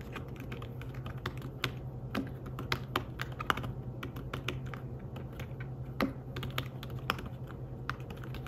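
Fingertips type quickly on a slim fabric-covered tablet keyboard, producing dense, soft, muffled taps with short clicks. A steady low hum runs underneath, and a few sharper keystrokes stand out from the rapid patter.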